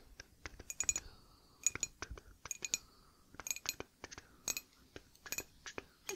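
A ceramic merch mug printed with the Noble Tea design is tapped in an irregular run of quick, bright clinks. Each tap is short and high-pitched, dying away almost at once with little low end, against a quiet background.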